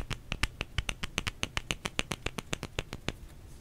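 Fingers tap on a solid bar of soap in a quick, steady series of around twenty short, dry clicks. Each tap is crisp and bright with a soft low thud underneath and almost no ring.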